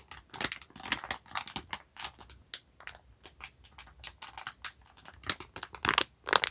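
A yellow sponge pack in clear plastic film wrap with a cardboard label is held up and squeezed and crinkled with the fingers. Dense, bright, crackly bursts of crinkling come in quick irregular clusters with almost no low end, each snap dying away instantly.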